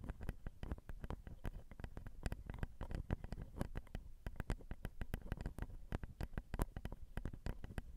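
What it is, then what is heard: Fingernails tapping a recorder's metal mic grilles. Long acrylic nails with rhinestones tap the slotted metal grilles and champagne-colored plastic/metal housing of a Zoom handheld recorder's XY microphone, whose two capsules are small hollow cylinders. A steady stream of quick, dry taps sounds close and boomy, with heavy low thumps and little high sparkle. Each tap stops almost at once.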